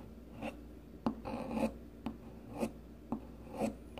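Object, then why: Solid bar of soap shaved with a peeler blade. A solid rounded green bar of soap, held in the hand, is shaved with the metal blade of a blue plastic peeler, leaving shavings piling up. A series of short, dry scraping strokes repeat about once a second, each with a soft low-mid body and a faint bright rasp. The strokes are quiet and close, with almost no ring after each one.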